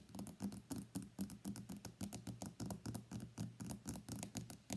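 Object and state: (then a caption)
Smartphone glass back. Fingernails tap rapidly on the glass back of a white iPhone X lying face down on a mat. The taps come about four per second in an uneven rhythm, each a short, dry click with a bright top and a soft low body that dies away almost at once.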